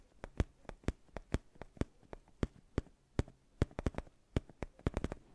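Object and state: Faux leather neck pillow.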